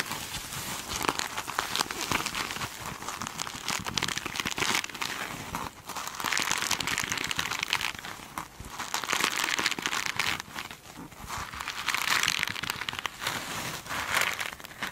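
Long nails scratch the glittery face of a hand-held foam sponge with a sparkly mesh cover, making a dense, bright crinkling and crackling texture. The scratching swells and fades in waves, with quick sharp ticks inside steady rough friction and almost no low end.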